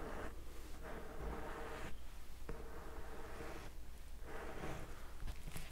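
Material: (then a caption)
Cardboard. Fingertips tap and scratch a solid, medium-sized blue and white hardcover book held in the other hand. Quiet bursts of dry scratching and rustling alternate with brief softer pauses over a steady low hum.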